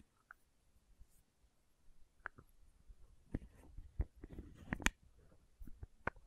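A small labeled plastic condiment bottle with a red plastic cap is held close to the mic while long nails tap and scratch the cap and body and work the lid. Sharp, short clicks and taps stand out over soft scratching and low rustle, with a cluster of brighter clacks near the end. The sounds are quiet and irregular, and each dies away almost instantly.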